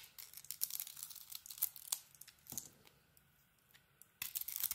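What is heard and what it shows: A utility knife blade carves and scrapes a solid bar of soap with a textured pink coating and an orange interior, breaking off crumbly chips. The sound is bright, crisp scraping and crackling in quick bursts that fade into a near-silent pause, then return loudly near the end.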